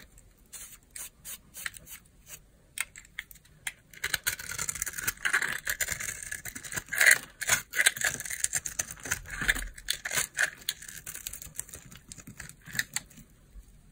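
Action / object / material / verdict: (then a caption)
scrape / bar of soap cut with a knife / soap / none. A knife blade cuts crunchy chunks from a hand-sized, dry, solid gold-glitter soap bar with a purple interior, held in the hand. Crisp, bright crackles, scrapes and snapping crunches come in quick bursts. They grow denser and louder through the middle and thin out toward the end.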